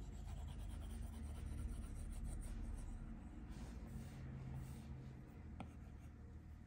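A plastic Apple Pencil tip, held in the fingers, rubs and scratches across the flat glass touchscreen of an iPad Pro tablet lying on a table in repeated strokes. The quiet, continuous, dull rasping sound is mostly low, with a brief sharp tick near the end.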